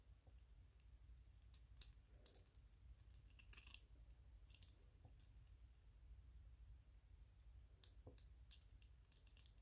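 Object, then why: Small 3D-printed PLA plastic toy. Fingertips and nails tap and rub a small white 3D-printed PLA plastic ghost toy. Quiet, irregular bright clicks and short scratchy rubs play over a steady low hum.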